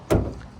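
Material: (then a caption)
Painted steel. A fingernail taps once on the painted body panel of a used car, giving a short, dull knock with a low thump that fades within about a tenth of a second. The tap sound indicates the panel's paint is original rather than repainted.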